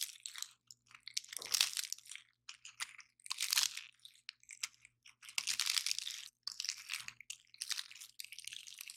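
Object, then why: Pine cone scales. A large dry pine cone with stiff woody scales is held in both hands while fingers and nails crush it and snap scales off. Irregular bursts of bright, dry crunching alternate with short, sharp snaps and crackles, with almost no low end and very little ring. Brief silent gaps fall between the bursts.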